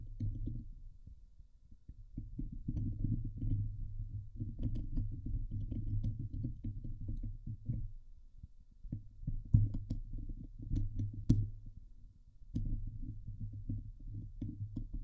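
Long nails scratch and tap the hollow steel mesh dome grille of a Blue Yeti microphone. The result is a dense, low, muffled rumbling scrape with short dull taps, coming in bursts separated by brief quieter pauses, with an occasional sharper tick standing out.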